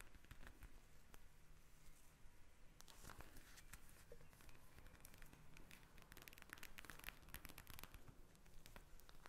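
Long nails tap and scratch the surface of a pink plastic eye mask filled with gel beads, lying flat on a glass table. The result is a quiet, steady stream of dense crinkly crackles and quick, dry clicks, with soft low-end thumps underneath.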